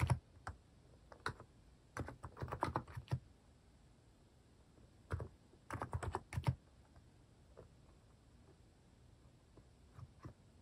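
Fingertips type on a cream Hanmumu mechanical keyboard fitted with plastic cat and paw keycaps. Quick runs of soft, low, muted clacks come in bursts separated by quiet pauses, each keystroke short and dry with almost no ring. The keystrokes stay gentle and deep-toned, with only faint brightness on top.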